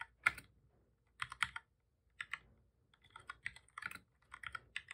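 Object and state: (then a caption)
Plastic computer keyboard being typed on. Both hands type steadily with their fingertips on a full-size black plastic keyboard with a hollow body, resting on a desk. Quick bursts of short, bright clacking key taps come in uneven clusters separated by brief pauses, each tap dying away almost instantly.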